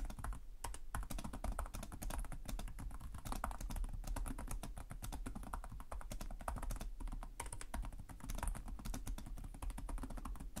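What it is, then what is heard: Plastic laptop keyboard being typed on. Fingertips type steadily on the plastic keys of a black laptop keyboard, producing a fast, dense stream of short, dry clicks and soft thuds. The taps blur into a continuous patter with a deep low thump under the brighter clicks.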